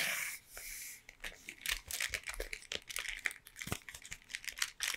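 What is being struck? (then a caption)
Cardboard box tapped and scratched with fingernails. Long painted nails scratch and tap along a closed, long triangular Toblerone cardboard box held in both hands. A bright, dry scraping hiss at the start gives way to a quick run of sharp, crisp clicks and papery scratches. The taps have almost no low end and no ring.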